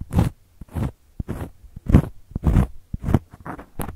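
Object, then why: Cork coaster. Long gold metal claw nails scratch across a round, flat, solid cork coaster. Dry, raspy scratching strokes come in irregular bursts, with short sharp ticks between them, and each stroke stops quickly with almost no ring.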